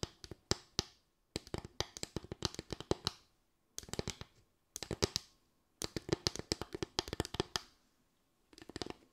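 A small slatted bamboo board, lifted and tilted, is tapped and scratched with long acrylic nails. Quick, dry clicks come in rapid bursts separated by brief pauses, each tap sharp and bright with almost no ring, over a faint hollow woody tone.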